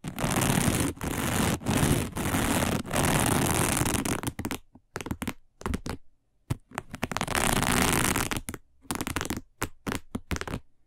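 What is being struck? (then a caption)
Woven plastic placemat. Long nails scratch along the edges of a round, flat, dark woven plastic placemat. Long, rough, broadband rasping strokes separated by brief breaks give way to a run of short, quick scrapes with silent gaps between them, then another sustained scratch and more fast, uneven scrapes.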